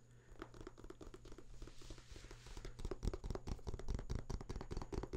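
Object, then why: Paper booklet. Fingertips scratch and riffle the pages of a printed paper booklet held open close by, making dry papery crinkles and soft taps. The sound is a quick, uneven run of brief scratches that grows busier and louder after the first couple of seconds. It is mostly low and muffled in tone, with a faint steady low hum underneath.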